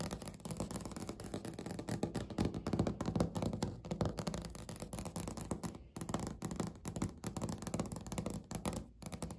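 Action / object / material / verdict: tap / laminate countertop / laminate / none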